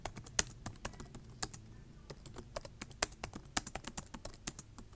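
Fingertips with short nails type on a black plastic laptop keyboard, tapping the keys in a quick, uneven run of about eighteen crisp clicks over five seconds. Each tap is a short, dry, bright click that dies away almost instantly, with a faint low thump beneath and a quiet hiss between strokes.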